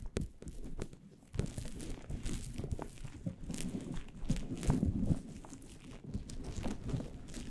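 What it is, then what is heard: Synthetic fur microphone windscreen being scratched. Both hands work a fluffy, synthetic faux-fur windscreen on a microphone, with nails scratching and fingertips rubbing the fur. The result is a dense, continuous scratchy rustle and crinkle, heavy in muffled low rumble, with a brief quieter lull early on before the rubbing picks back up.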